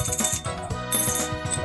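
A 1978 Rp100 coin, picked at random from a batch of 54, is dropped into a small bowl and rattles with repeated bright strikes. A clear, high ring sustains over a lower clatter. The coin is judged genuine from its sound.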